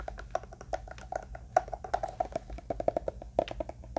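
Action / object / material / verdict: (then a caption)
tap / hard-shell eyeglass case, plastic with faux leather covering / plastic / none. A closed, hand-sized, hollow black hard-shell eyeglass case with a "pepe" logo, apparently plastic covered in faux leather, is held in one hand and tapped and scratched with the fingertips and nails of the other. A quick, irregular run of short, dry, hollow knocks with a mid-pitched resonance mixes with soft scratching. Each tap dies away almost at once over a faint low hum.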